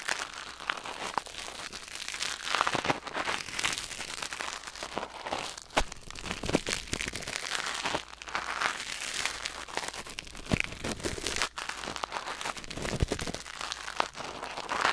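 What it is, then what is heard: Silicone ear microphone scraped with tweezers. Metal tweezers held in the fingers scrape and pick inside the canal of a white silicone ear mounted on a black binaural microphone. The result is a steady stream of close, dry crinkling and crackling with many quick scratchy clicks, bright and hissy, with little low end.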